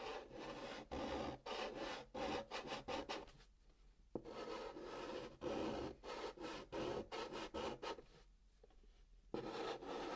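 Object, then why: Chalk on cardboard box. Fingertips hold a piece of pink chalk and scratch and rub it in short strokes across the top of a large, flat brown kraft cardboard box, filling in a drawn pattern. The result is a dry, raspy scraping in quick bursts, with brief quiet pauses between runs of strokes.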